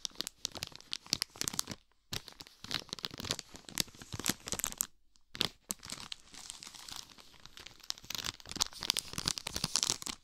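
A full, hand-sized pack of ridged wafer biscuits sealed in clear plastic film is held, squeezed and rubbed with the fingertips next to a binaural dummy head, crinkling the wrapper. Dense, bright, crackling crinkles come in rapid bursts with little low end, pausing briefly near 2 and 5 seconds before resuming.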